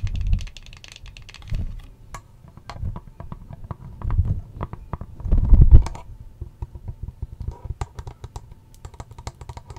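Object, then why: Small plastic hand mirror. A small pink plastic hand mirror with bunny ears and a textured back is tapped rapidly with long nails. The result is a quick run of dry, clicky taps that come in bursts, with low thumping swells between them.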